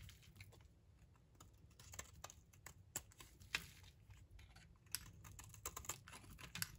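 A utility knife blade scrapes thin, flaky shavings off a solid, dry pink bar of soap held in the palm. The strokes come as quick, dry, crisp scratches and clicks, bright and short with almost no ring, over a faint low background hum.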